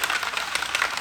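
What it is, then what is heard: Polish bottle with agitator ball rattling. A plastic bottle of Time2Shine aluminum metal polish is shaken hard to mix the separated product, making the agitator ball inside rattle. The rapid clicking rattle is bright and thin, with almost no low end and only a brief ring after each knock.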